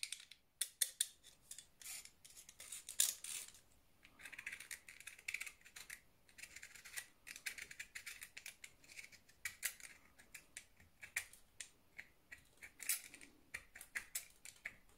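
A small, solid, round orange soap bar held in the hand is scored in a grid pattern with the tip of a blue utility knife. Dozens of quiet, crisp, bright scratching and scraping strokes follow one another in uneven bursts, each dying away almost instantly with almost no low end.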